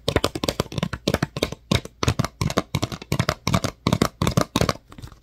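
Fingertips and nails tap and scratch the ridged body of a clear, thin PET water bottle that appears empty. Quick bursts of irregular tapping sound, each a dull low thump with a brittle, crinkly plastic crackle that dies away almost instantly. Short pauses separate the bursts.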